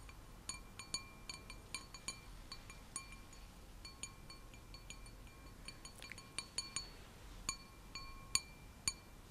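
An empty, clear, hollow stemmed wine glass with a white printed design is held in one hand and tapped with long manicured nails. It gives a steady run of quiet, bright clinks, each with a faint glassy ring at a few steady tones. Some taps land harder and louder than others over a soft background hiss.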